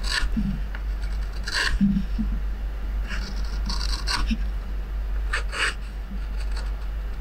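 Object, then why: Wooden plate rim and metal gouge. A curved metal hook gouge, held in the fingers, scrapes and carves the rim of a wooden plate clamped down with a red clamp. Short, bright rasping strokes repeat over a steady low hum, and shavings come off the edge.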